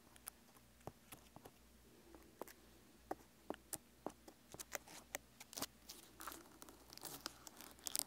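Fingertips and nails scratch and tap the rough, scaly rind on the side of a whole, solid pineapple with a leafy crown and a decorative face with glasses and a nose, standing on a wooden table. Quiet, dry, bright clicks and scratchy crackles stand out sharply against a low, steady background hush. The taps come sparsely at first and grow denser and more crinkly toward the end.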